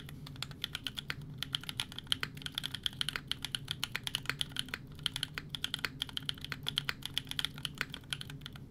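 A 60% mechanical keyboard with a Fjell case, FR4 plate, GMK Serika ABS keycaps and EMOGOGO tactile switches is typed on rapidly with the fingertips of both hands. The result is a fast, steady stream of short, bright clacks with a faint low hum underneath.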